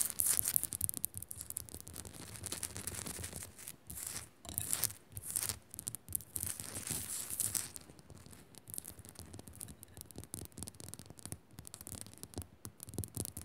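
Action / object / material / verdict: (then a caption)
scrape / rock salt lamp / rock salt / none. Fingers quickly scratch and tap on a rock salt lamp, making dense, bright, crackly scratching noise broken by short, dry taps. The scratching comes in rapid bursts with brief pauses, and the sharp taps stop almost instantly with no ring.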